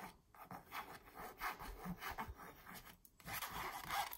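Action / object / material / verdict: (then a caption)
scrape / framed printed canvas wall sign / canvas / none. Long purple nails scratch and trace the print on a small "But First Coffee" printed canvas stretched on a frame hanging on a wall. Soft, dry rubbing and scratching strokes swell and fade in a steady rhythm, with a brief pause near the three-second mark. The tone is mid-pitched and papery, with little low end.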